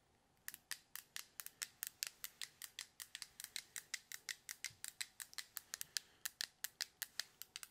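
Fingertips click and press the coloured buttons and switches of a small hollow white plastic fidget stress cube held in both hands near the mic. After a brief quiet start, 41 sharp, bright, dry clicks follow in a quick, steady rhythm, each snapping off instantly with no ring.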